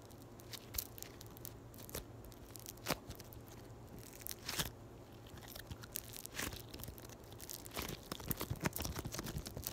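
A palm-sized, flattened, solid yellow floam (foam beads in slime) is squeezed, folded and poked by long white nails. It makes a steady series of quiet, sharp crunches and crackles, some louder than others, over a faint steady low hum.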